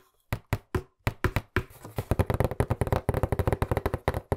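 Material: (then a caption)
Cardboard. Fingertips tap and knock aggressively on a hollow white cardboard box with black print, held in front of the mic. A few spaced, dull, low thumps give way to a fast, dense run of short knocks with almost no ring.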